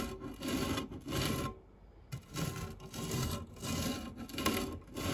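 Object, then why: Metal fluted tart tin scraped by silicone spatula. A white silicone spatula scrapes and rubs the base of a round, dark non-stick metal fluted tart tin with crumbs in it. It makes repeated gritty, broadband scraping strokes with a soft low rumble and a bright hiss. The strokes pause briefly near the middle, then resume steadily until the end.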